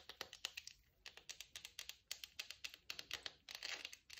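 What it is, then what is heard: Bar of soap. A palm-sized, rectangular solid bar of pale olive-green soap, held in wet hands over a bubble bath, is tapped and scratched with long acrylic nails. The result is a quick run of quiet, bright, dry clicks and scratchy ticks with almost no ring.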